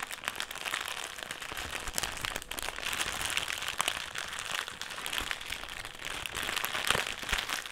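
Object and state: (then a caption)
Metallised plastic crisp packet. A black, foil-lined metallised plastic crisp packet is held in both hands and crumpled and twisted with the fingers. It makes a dense, continuous, bright crinkling and crackling with many sharp, short snaps and almost no low end. The level stays fairly steady, with a few louder crunches near the end.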